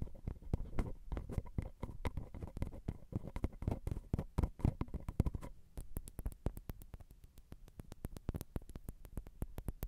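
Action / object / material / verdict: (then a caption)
tap / metal recorder microphone capsules / metal / none. Long glitter acrylic nails tap on the metal X/Y microphone capsule bodies of a Zoom recorder. The result is a rapid, irregular stream of gentle, dull, low-pitched taps with almost no ring. In the second half, the taps become sharper clicks.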